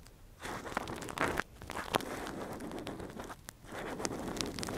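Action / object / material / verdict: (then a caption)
scrape / silicone ear model with metal pick / silicone / none. A gloved hand scratches and probes inside the hollow ear canal of a soft, translucent, hand-sized silicone ear model (a binaural microphone cover) with a thin metal earpick. Close, crackly scratching and crunchy rustling come in bursts, with sharp clicks and brief quiet gaps between strokes.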